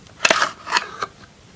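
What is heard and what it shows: A metal knife blade scrapes the surface of a solid pink soap bar held in the hand. The result is a few short, dry, crisp scraping bursts with bright, high content and no low end, each stopping almost instantly.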